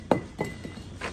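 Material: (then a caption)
Fired clay. A fired clay brick is thrown to the ground as a drop test of its quality, landing with three short, sharp clinking impacts that die away almost at once. It does not break, marking it as a good brick, since a break in the middle would mean a bad one while chipped edges would be acceptable.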